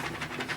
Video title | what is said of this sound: Oh gnome you don't Review with Geekedupgaming | you can hear stuff moving in there